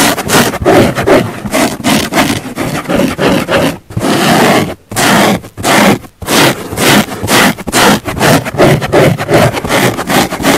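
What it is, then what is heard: Foam sponge being scratched. Long painted nails of both hands scratch a large flat pink foam car sponge lying on a wooden table, with a small clip-on mic resting on the sponge. It produces a rapid run of loud, dry, rasping scrapes with bright hiss, each stroke ending abruptly. A few longer, smoother rubs break up the quick strokes.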